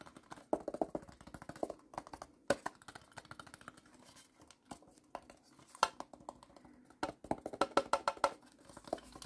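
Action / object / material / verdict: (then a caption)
tap / small plastic toy shipping container / plastic / none. Fingertips and nails tap rapidly on the ribbed sides and top of a small, hollow, blue plastic toy shipping container. The result is a fast, uneven run of short, dry, hollow clicks and ticks that ring briefly around the mid-range, with little low end. The taps come in dense clusters broken by brief pauses.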